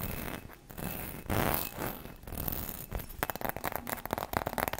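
Long red nails scratch and tap across the surface of a hollow gold ribbed Christmas bauble, apparently glass, held close to the mic. Soft rasping scrapes in the first half give way to a rapid run of short, bright clicking taps toward the end.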